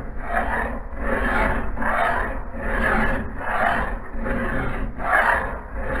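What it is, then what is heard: Steel axe head being filed. A metal file is rasped with both hands along the edge of a solid steel axe head clamped in a vise. Repeated, unevenly timed gritty strokes swell and fade in a mid-range rasp over a steady low rumble, with little high-end content.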